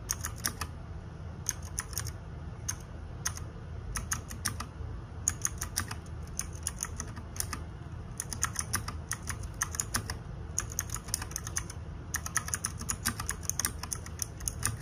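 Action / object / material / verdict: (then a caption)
tap / plastic mechanical keyboard keys / plastic / none. Fingertips and nails type rapidly on the plastic keycaps of a small RGB-backlit 60% mechanical keyboard. Bursts of sharp, bright clacks come in quick runs separated by short pauses. A steady low rumble sits underneath.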